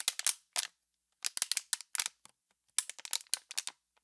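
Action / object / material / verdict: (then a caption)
shake / thin plastic water bottle / plastic / none. An empty, clear, heavily crushed hollow plastic water bottle is squeezed and crinkled by one hand with pink nails. It gives sharp, bright crackles in quick clustered bursts separated by short silences. The sound has almost no low end and each snap dies away almost instantly.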